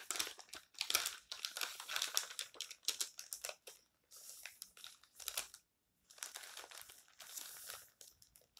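Fingertips turn and bend the pages of an open, thin paper tabloid magazine with yellow-edged pages lying on a stack, while flat hands rub and press them down. Bright, dry paper crinkling comes in dense bursts with almost no low end, stopping briefly around the sixth second before resuming.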